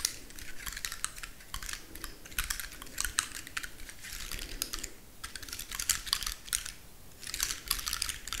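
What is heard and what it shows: A large, dry, woody pine cone is held in the hands while long nails scratch across its scales and flick their tips. This makes quick bursts of dry, bright clicks and crackles that come in short clusters with brief pauses between them, over a faint low rumble. Each tick is crisp and dies away almost at once.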